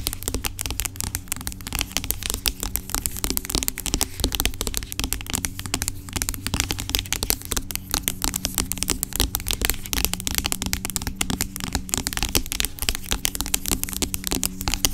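Long acrylic nails tap and scratch the sides of a large, dark, hollow plastic pump bottle of aloe vera gel, which lies on its side and seems filled with gel. Rapid, dense, crisp clicks and scratchy bright ticks run throughout over a steady low hum.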